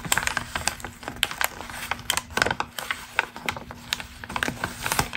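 A single thin, pre-crumpled glossy magazine page with a text article is held flat and then lifted in both hands while long green acrylic nails scratch and crinkle it and the hands rub and flex the sheet. The result is a dense run of crisp, bright crackles and snaps with very short decay, over a faint steady low hum.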